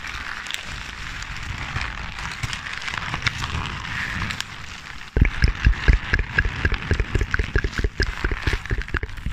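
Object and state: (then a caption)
Crumpled paper sheet. A hand-sized crumpled sheet of white or grey paper, light and hollow when balled up, is crinkled and squeezed by fingers with long painted nails close to the microphone. A soft, steady rustle gives way after about five seconds to louder, sharp crackles in rapid, irregular bursts with a low, thumpy body and bright edges.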